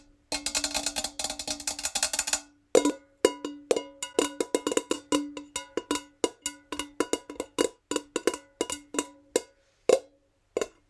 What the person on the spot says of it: I'm tapping this jar really fast with my natural nails.